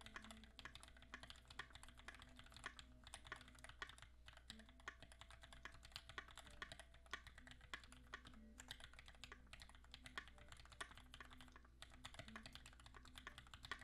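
A compact 60% QXP mechanical keyboard with Greetech Black switches, a blue-gray aluminum case and beige, gray and blue ABS keycaps sits on a desk mat while both hands type quickly with their fingertips. A steady stream of short, bright clacking keystrokes overlaps into continuous fast typing, with occasional louder key strikes, over a faint steady low hum.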